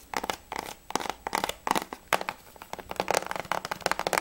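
Fingernails tap and scratch quickly across the back and then the front cover of a plastic PS3 game case for Battlefield 3. The result is rapid bursts of crisp, bright clicks and scratchy rasps with a hollow tone around 900 Hz, each dying away almost at once, with brief quiet gaps between them.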